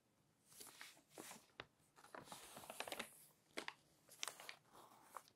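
An open glossy paper magazine has several pages flipped by fingers, with nails run along the page edges. Soft, bright crinkling and papery rustles swell in bursts, punctuated by sharp, quick snaps of paper. It stays quiet and close, with almost no low end.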